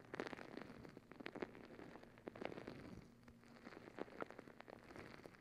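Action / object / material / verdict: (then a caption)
scrape / rubber squishy ball filled with gel beads / rubber / none. Long acrylic nails scratch and squeeze a palm-sized rubber squishy stress ball full of gel beads. The result is a quiet, steady patter of soft crackles and short clicky taps, with a faint low hum running underneath, like light rain on a surface.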